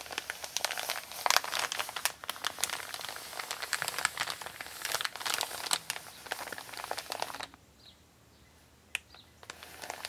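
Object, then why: Kraft paper mailer bag. Long nails and fingertips scratch and rub a flat, empty brown kraft paper Amazon mailer with a shipping label while both hands rest on it. Dense, bright crinkling and scratchy rustling fill the first seven and a half seconds. It then drops to near silence, broken by a sharp scratch around nine seconds and soft rubbing returning at the end.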